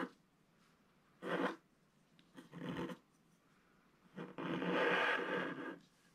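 A wooden stylus held in the fingertips scratches the black coating off an A4-sized scratch art page in a book, lying solid and flat on a table, revealing the colours underneath. Three dry, rasping scratch passes are heard, separated by quiet pauses, with the last one the longest and loudest.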